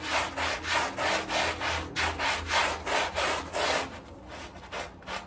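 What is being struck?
Wet fabric rug scrubbed with a bristle brush.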